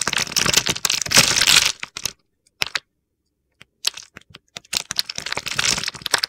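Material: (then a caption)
Soap. A utility knife blade carves a solid mint-green bar of soap, pre-scored into a grid and held in the hand, scraping off crumbly cubes. Dense, crisp, gritty crunching and scraping fills the first two seconds, then breaks into short, scattered clicks and a near-silent gap, before the crunchy scraping builds again toward the end.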